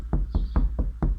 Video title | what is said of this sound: Renault express number 3 | ça sonne ça sonne plein